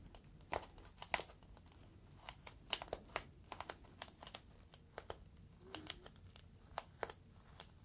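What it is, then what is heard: Plastic air column cushion. A clear inflated plastic air-column cushion is squeezed and crinkled with fingertips. The result is a run of sharp, bright crackles and snaps with brief pops scattered over a low, steady background hiss.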